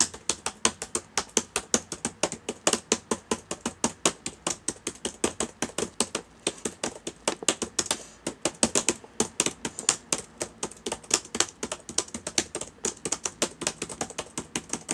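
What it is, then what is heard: Plastic laptop keyboard being typed on. Fingertips of both hands type on the plastic keys of a black laptop with a hollow body, open on a table. A steady stream of rapid, crisp, bright clicks and taps is heard, each dying away almost instantly, with very little low end and a brief lull about halfway through.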